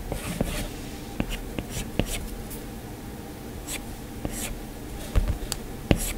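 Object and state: Stylus drawing on a glass tablet screen.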